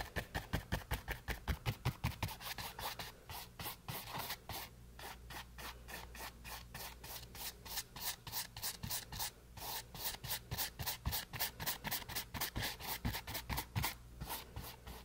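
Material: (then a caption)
Canvas. A flat paint brush rubs across a small, solid, green painted canvas board resting on a table, in a long run of quick repeated strokes. Each stroke gives a short, bright, dry swish with a scratchy texture over a steady low hum. The strokes start loud and even, soften in the middle, then grow stronger again toward the end.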